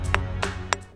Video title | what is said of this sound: भारत में मिली सीक्रेट साउंड टेक्नोलॉजी? उन्नत प्राचीन सभ्यता का प्रमाण? | पूरी आवाज नहीं आ रही है ठीक है यह कोई आवाज नहीं है